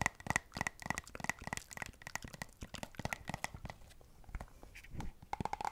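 A hand-sized, hollow, partly full white and blue plastic squeeze tube of moisturiser, held in both hands, is tapped and scratched with long acrylic nails. Rapid, dry clicking taps mix with crinkly scratching, some carrying a faint ring around 2 kHz. A brief scraping swell comes near the end before a final burst of quick taps.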